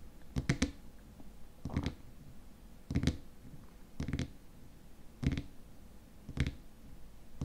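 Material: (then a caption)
Plastic. Fingertips and nails tap and scratch the top of the white plastic lid on a small, squat glass cream jar filled with white contents. Short, dull, low-pitched taps and brief scratches come in small clusters roughly a second apart, each dying away almost at once against a quiet background.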